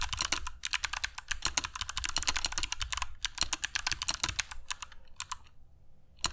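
Fingertips of both hands type continuously on a compact black mechanical keyboard with dark PBT plastic keycaps and Kailh Box Jade switches, resting on a cork desk mat. Rapid, crisp, bright clicks come in a steady stream. The typing slows and briefly pauses near the end before a final couple of clicks.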